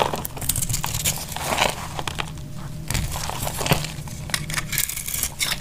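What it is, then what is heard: Dry bar soap scraped with a blade. A utility knife blade scrapes crunchy flakes off a solid, partly carved lilac bar of dry purple soap, held in the hand over a pile of shavings. Dense, dry crackling and crunching comes in quick, overlapping bursts with bright, gritty detail, over a steady low hum.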